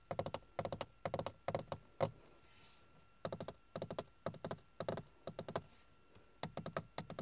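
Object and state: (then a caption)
Textured plastic dashboard panel. Fingertips and nails tap and scratch a hard, hollow, grained plastic car dashboard panel with carbon-look trim. Quick clusters of dry, clicky taps with short, hollow knocks come in bursts, separated by brief pauses and one longer quiet stretch of faint hiss. Each tap dies away almost instantly, leaving a light, hollow plastic tone.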